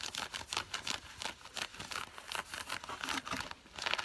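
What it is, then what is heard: Nylon-blend cargo pants. Long fingernails scratch worn, dark grey nylon-blend synthetic cargo pants with pocket flaps. The result is a quick series of bright, dry rasping strokes with crisp, hissy texture and almost no low end. Each scrape cuts off with no ring.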